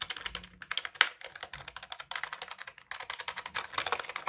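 A black, full-size wired Dell keyboard with plastic keys and a hollow plastic case is held up in both hands while its keys are tapped and pressed with the fingertips, as in typing. The result is a quick, uneven run of about thirty short, bright, clacky clicks with a hollow tone and almost no ring. One sharper, louder clack stands out near the one-second mark.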